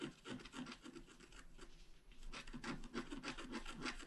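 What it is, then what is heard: Scratch art paper sheet. A wooden stylus held upright scratches across a flat, black-coated scratch art card about A4 in size, held by one hand. It makes a quick series of dry, rasping strokes with a soft low body and a bright scratchy edge. The strokes thin out briefly midway, then resume in a faster run.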